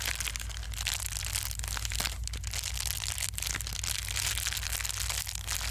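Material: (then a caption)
Plastic. A small folded piece of plastic bubble wrap, held in both hands, is squeezed and crinkled with the fingertips. It makes a continuous bright crackling and crunching, with sharp pops scattered throughout over a steady low hum.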